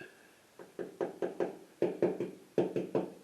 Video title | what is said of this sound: Found a nasty Surprise in my 66 Mustang Cowl! | sounds like metal